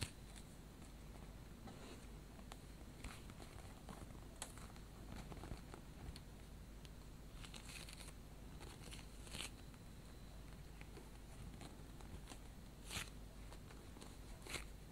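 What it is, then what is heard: Polyurethane foam squishy toy. A hand-sized, bread-slice-shaped squishy toy of solid soft polyurethane foam, pink on top with a yellow crust edge, is squeezed and pressed with fingertips and long painted nails. Quiet, soft crinkling and scratchy ticks sound over a low hum, with brief bright taps where the nails catch the foam surface.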